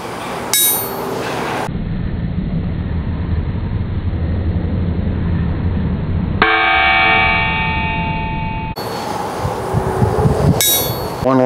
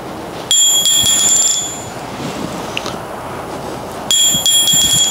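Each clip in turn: First: hard-faced anvil with good rebound. Second: steel striking anvil with almost no rebound.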